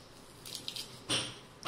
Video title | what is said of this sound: गणपती बाप्पांसाठी ड्राय फ्रूट चे मोदक खजूर मखाना बदाम काजू पिस्ता अक्रोड डेसिकेटेड कोकनट पौष्टिक | मगाशी वात होते आता मी तुम्हाला दाबून दाखवते बघा कसा छान कुरकुरीत आवाज येतोय